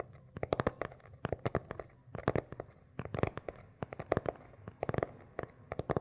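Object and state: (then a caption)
Cloth-covered hardcover book. Fingernails scratch and tap the beige, textured cloth cover of a small, solid hardcover notebook held upright between two microphones. Quick clusters of short, dry taps and scratchy clicks come in bursts with brief pauses, each stroke dying away almost instantly over a soft, low background.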